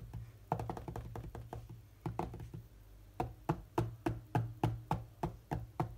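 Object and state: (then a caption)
Glass tablet touchscreen. Fingertips of both hands tap rapidly on the glass touchscreen of a large tablet lying flat while playing a game. The taps are dull, short knocks with a low, muffled body, coming in quick, uneven bursts over a faint steady low hum. They start as dense flurries and then settle into a steadier run of firmer taps.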